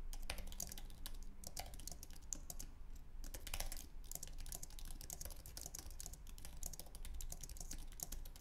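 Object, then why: Aluminium-base keyboard with plastic keys. Both hands type with their fingertips on a white, low-profile Apple Magic Keyboard with an aluminum base and plastic keys. The keys make a rapid, continuous patter of short, bright, dry clicks with almost no ring. A steady low hum runs underneath.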